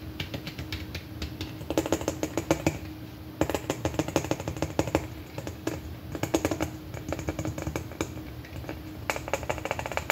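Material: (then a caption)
Plastic. A large hollow red plastic M&M-shaped candy container, resting on a lap and then held up, is tapped rapidly with long fingernails. Quick, bright clicking taps come in dense bursts over a steady low hum, with a faint hollow tone around 550 Hz under the strikes.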